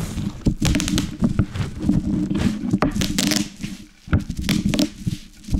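A large sheet of plastic bubble wrap with hollow air cells lies on a wooden cutting board and is crushed by rolling a wooden rolling pin over it with both hands. Irregular, sharp pops and crackling bursts sit over a low, steady rumble from the rolling pin. The bubbles pop as the pin passes over them.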